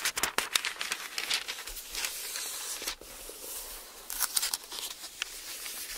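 A large open hardbound Bible with thin printed paper pages is held flat while fingertips flip the pages and the palm rubs and smooths the page surface. The result is bright, crisp rustling and crinkling with quick papery flicks as pages turn, separated by softer hissy stretches of smoothing.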